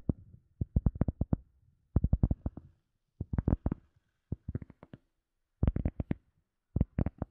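An EVA foam sponge is tapped in quick bursts separated by short pauses. The taps are soft, dull and low, with almost no ring. The sound is muffled and thuddy.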